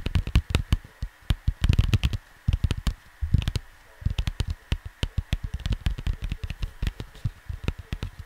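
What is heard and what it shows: Fingertips of both hands tap and scratch the glossy printed cardboard of a square vinyl record sleeve lying flat. The result is a rapid, uneven stream of short, dull, low thuds with brief scratchy rustling passages between them, over a faint steady hum.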